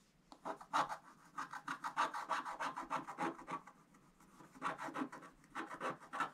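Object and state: Scratch-art card scraped with a wooden stylus.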